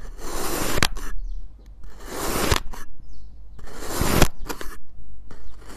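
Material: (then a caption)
Kinetic sand. A white ceramic knife with a clip-on mic repeatedly slices through a small, solid molded block of purple and yellow kinetic sand on a plate. Each cut makes a gritty, hissing scrape that ends in a sharp click, with a low, close-up rumble underneath. The strokes come in bursts separated by short quiet gaps.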